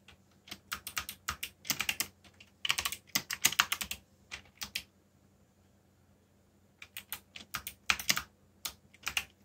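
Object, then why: Plastic mechanical keyboard. Fingertips type quickly on the keys of a backlit black plastic mechanical keyboard, producing rapid bursts of short, bright clacking keystrokes over a faint steady low hum. The typing pauses for about two seconds midway, then resumes in quick runs to the end.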